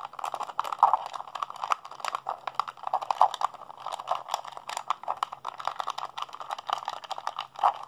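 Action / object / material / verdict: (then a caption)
tap / plastic handheld game controller / plastic / none. Fingertips and thumbs rapidly mash the buttons of a hollow, blue plastic PlayStation 3 handheld controller held in both hands. The result is a dense, fast stream of short, dry plastic clicks and taps centered in the midrange around 875 Hz, with brief bright edges and a few louder presses standing out.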